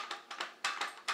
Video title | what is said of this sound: Powerblock Sport 5.5 Review | there's a little bit of like rattling if I shake it around a lot but I would say less rattling